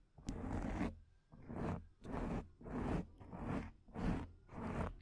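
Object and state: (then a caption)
Foam microphone windscreen being scratched. Long painted nails scratch the top of a black foam microphone windscreen in seven separate passes, each a dense, rough scratching rasp. The scratches are heavy in the low end, with short quiet gaps between them.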